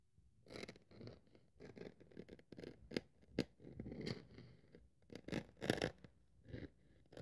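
A craft-knife blade is pressed and drawn across a thin white polyethylene foam sheet lying on a wooden table, scratching and cutting its surface. The sound is a series of short, dry, crackling scrapes with brief quiet gaps, mostly low-mid in tone with faint bright edges and almost no ring after each stroke.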